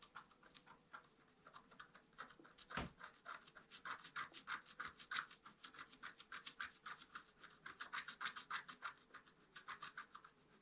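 A wooden stylus scratches leaf details into a flat, black-coated scratch-art card. The result is a quiet, rapid series of short, dry, raspy strokes, roughly three or four per second, with a bright, hissy edge centred around 1.5 kHz. A single heavier tap or thump stands out near the three-second mark.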